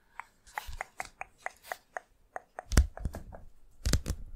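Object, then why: Cardboard LP record sleeve. A thin, flat, rigid 12-inch cardboard LP jacket of Nirvana's Nevermind, possibly with a record inside, is held up close and tapped with long fingernails and fingertips. It gives a run of short, clicky, typing-like taps with a dry midrange knock and no ring, spaced unevenly. The taps grow denser and heavier toward the end, with a few stronger, duller thumps.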